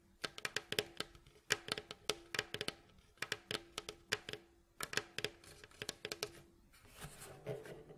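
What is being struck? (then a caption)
Wooden mandolin bowl back. Fingertips and short nails tap and scratch the glossy varnished staves of a rounded, hollow mandolin bowl back of striped red and light wood, lying face down. Quick, bright, dry taps come in irregular clusters with a faint low hum underneath. Near the end they give way to a softer, rustling scratching sound.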